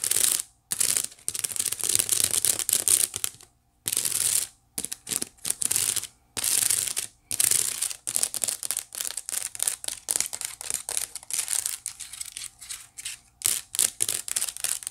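Long nails scratch the woven bottom of a white wicker basket held at an angle. Dry, bright, crackly scratching comes in bursts of quick strokes separated by short silences, with almost no low end.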